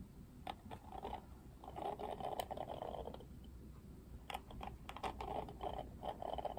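Fingertips strum the thin plastic bristles of a Barbie Wet Brush detangling hairbrush with a pink and grey plastic frame. The result is quiet bursts of rapid, dry plastic ticking and flicking, with a midrange buzzy rasp around 700 Hz, a few sharper snaps, and a soft low hum underneath.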